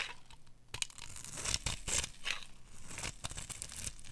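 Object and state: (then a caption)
Dry soap bar being scraped. A metal utility knife blade scrapes and carves a solid pale green rectangular bar of dry soap held in the hand, curling off shavings. Repeated dry, crisp rasping scrapes come in uneven bursts, bright and crackly like tearing, and each stops almost instantly with no ring.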